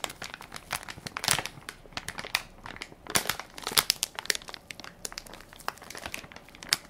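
A hand-sized Equate baby wipes soft pack made of crinkly plastic film, full of wipes, is held in one palm while fingertips and nails press and crinkle the film. Dense, bright, dry crinkles come in irregular bursts with brief louder crunches, almost no low end and no ringing after each press.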